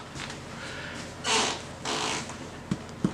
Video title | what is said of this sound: Chocolate Pumpernickel Bread | you tap it it sounds hollow